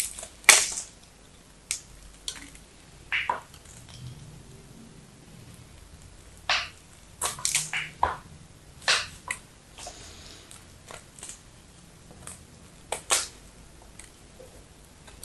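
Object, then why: Bar soap scraped with a knife. A knife blade scrapes and shaves flakes from a solid blue striped bar of soap held in fingers with yellow nails. It makes 14 short, bright, crisp scraping crunches separated by near-silent pauses, each one dying away almost at once.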